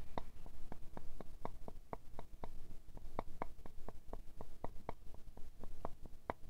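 A square glass perfume bottle full of amber liquid is tapped first with fingernails, then with a thin wooden stick. About twenty-two light, quick taps each give a short glassy ring with faint bright overtones, spaced unevenly over a quiet low background hum.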